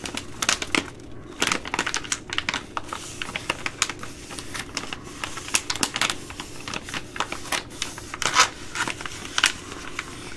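A Ready Rice plastic laminate pouch is bent, folded and crinkled by hand with long nails. It makes a steady run of sharp, bright crackles and snaps with very short decay, set over a soft low hiss. The clicks come in irregular bursts, with a few louder pops standing out.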